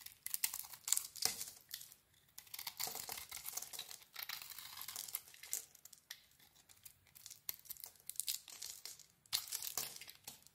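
A solid rectangular mint green bar soap embossed "Nature Box" with a cream core is shaved with a small metal blade, so flakes peel off. Bright, dry scraping and crinkly crackling come in uneven strokes with quiet gaps between them, and there is almost no low end.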